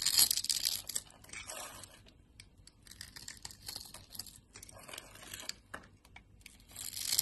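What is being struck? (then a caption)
Bar of soap. A dark utility knife blade, held in a hand with dark nails, shaves small cubes off a solid yellow soap bar scored in a grid. Bright, crisp scraping and crunchy cutting sounds are loudest at the start and end, with softer, irregular shaving strokes in between.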